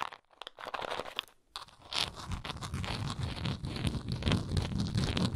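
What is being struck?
Plastic tablet bottle.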